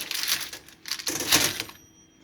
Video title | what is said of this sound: The Best French Bread!!!! Must Try!!!! | this sounds hollow she's done if it doesn't it's not